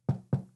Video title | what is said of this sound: Introducing the affordable amCase for the Nintendo Switch 2 | It is a semi hard shell. You can hear that when I knock.